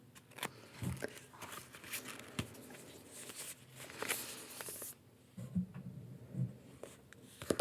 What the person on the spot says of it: I'm a tapping fan but I don't like my tapping to be too loud